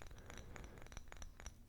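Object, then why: Glass coaster. A glass coaster is tapped and scraped, giving quiet, dry clicks and short clinks over a soft rasping scrape. A low rumble sits beneath, and each tap fades almost at once.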